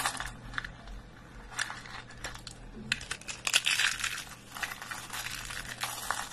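Thin, dry, off-white soap sheets are bent and crushed between fingers into brittle flakes. The result is a dense run of bright, crisp crackles and sharp snapping clicks over a faint steady low hum, with a louder burst of crunching near the middle.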